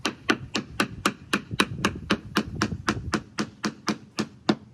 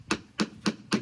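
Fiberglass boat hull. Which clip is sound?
The second.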